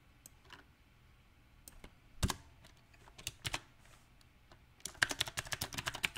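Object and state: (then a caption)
Mechanical keyboard, plastic round keycaps. Fingertips type sparsely on a backlit compact mechanical keyboard with round typewriter-style plastic keycaps on a silver metal frame, one hand pressing the keys. Short, bright clicks come in irregular bursts, starting scattered and picking up into a quicker cluster near the end. Each keystroke snaps off almost instantly against a quiet background.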